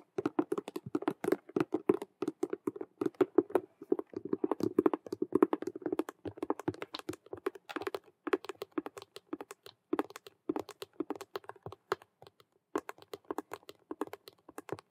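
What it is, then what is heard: Patent faux leather cube-shaped handbag. Long nails rapidly tap and scratch across two faces of a hollow, cube-shaped patent faux leather Rubik's cube handbag. The result is a dense, quick stream of sharp, dry clicks with a hollow mid-pitched body and bright scratchy edges. Each tap dies away almost instantly.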